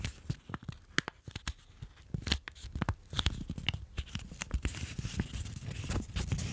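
Fingertips and thumbs press, rub and fold the layers of a small, solid stack of folded white paper held in front of a microphone. Sharp crinkling snaps and soft rubbing come in quick, irregular bursts over a low, close rumble. The handling grows denser and more continuous toward the end.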